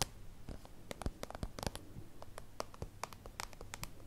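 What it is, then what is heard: Soft plastic zip pouch. A small translucent soft-plastic holographic zip pouch, used as a pencil case, is held and scratched with long acrylic nails. The result is a quick run of crisp, bright clicks and scratches over a low, hollow rumble. Each hit dies away almost at once.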